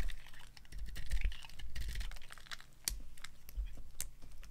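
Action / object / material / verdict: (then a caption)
scrape / bar of soap scraped with a small knife / soap / none. A hand with long gold-painted nails holds a hand-sized, solid, dry white bar of soap over a bed of colored soap shavings and carves and scrapes it with a small metal knife, shaving off slices. The strokes make a run of crisp, dry scratching and clicking ticks with bright edges over a faint low rumble. One sharper crack stands out near the end.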